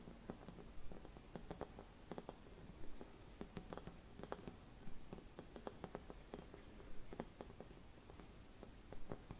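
Long red nails tap and scratch a hollow, gold-silvered mercury glass Christmas bauble with a cap. Quiet, short, dry clicks and light scratches come at an uneven pace over a steady low hum.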